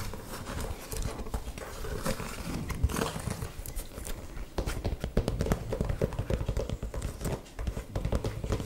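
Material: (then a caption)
Leather. An old brown leather boot, hollow and empty, is held close and tapped and scratched along its leather upper with long nails. The result is a dense, irregular run of soft, dull, low-heavy taps with quick scratchy scrapes and very short ring.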